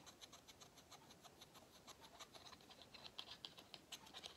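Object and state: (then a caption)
Pleated paper vacuum filter scratched. Fingernails scratch along the pleats of a small, hollow, cylindrical pleated-paper vacuum cleaner filter. The result is a quiet, rapid, irregular series of dry, bright scratching ticks, about four per second, with little low end. The strokes grow sharper and more pronounced toward the end.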